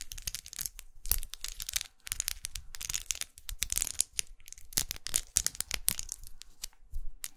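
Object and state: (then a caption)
Plastic lipstick case. Long nails tap and scratch the textured body of a small red faceted plastic lipstick tube, held sideways with its end cap visible. Quick, bright plastic clicks mix with dry, crinkly scratching rasps in an irregular, busy stream. Short pauses break up the taps, and each one stops almost instantly with no ring.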